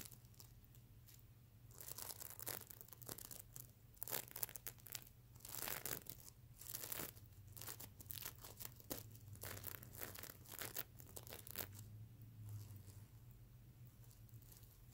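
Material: Plastic sequins.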